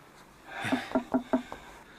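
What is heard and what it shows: A short series of knocks on a spot of a wooden wall gives quick, hollow-sounding thuds with a resonant tone near 250 Hz that dies away fast. The sound indicates a hollow space behind the wooden wall.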